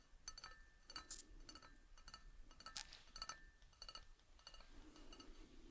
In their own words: 8:35 Ceramic Cup and Saucer Tapping